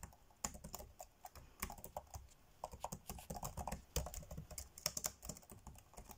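Fingertips tap fast on the dark grey plastic chiclet keys of a laptop keyboard, typing in quick, uneven bursts. Each keystroke is a short, dry click with a bright top and a soft low thump, and it dies away almost instantly.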